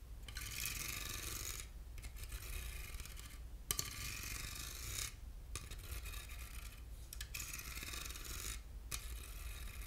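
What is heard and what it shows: Short fingernails scratch along the ribs of a small, hollow silver aluminum box with grooved sides, producing bright, raspy scraping strokes separated by brief pauses. A steady low hum runs underneath, and a sharp click marks one stroke midway through.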